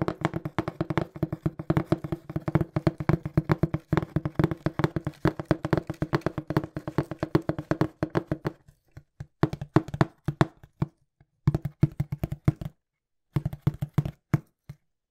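Fingertips tap rapidly on a small, hollow, brown printed cardboard shipping box held in front of the mic. The taps are dull, low, hollow thumps that die away almost instantly. A dense, steady patter runs for about eight and a half seconds, then turns into sparser bursts with short pauses, a full stop near thirteen seconds, and a brief final flurry.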